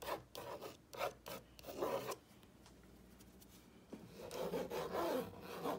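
A fingertip with a short painted nail traces and scratches along the printed letters of a whitewashed wooden plank wall sign reading "grateful hearts gather here," a flat solid panel. Short, dry, raspy scratching strokes with a mid-pitched rubbing tone come in quick bursts, then a quiet pause. A longer, continuous stretch of scratching follows.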